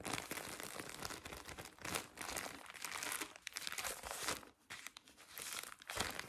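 Fingertips with painted nails squeeze and crinkle the thin, soft plastic film around a hand-sized, full pack of 50 cotton pads held in both hands. The result is a dense, continuous crinkling with bright, crackly texture and brief quieter dips.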